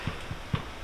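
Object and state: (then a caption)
Baked bread loaf sounds hollow (done). A homemade bread loaf, fresh from the oven after baking just under half an hour, is tapped three times, giving short, low, hollow thuds. The hollow sound shows the loaf is done.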